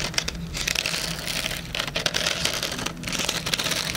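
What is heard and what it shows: Fingernails rapidly tap the back cover of a hardcover cardboard planner with a metal spiral, right next to the microphone's ear. The result is a dense, steady stream of dry, bright clicks and crinkly ticks with no ring, concentrated high in pitch over a faint low rumble.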